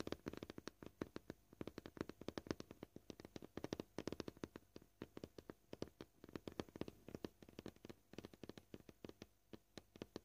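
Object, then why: Plastic cutting board. Short purple-painted fingernails tap quickly on a flat, solid white plastic cutting board, likely polyethylene, with knife scratches on its surface. The result is a quiet, rapid run of dozens of dry, clicky taps with a mid-range knock around 320 Hz. Each tap dies away almost instantly, and the taps come in uneven bursts.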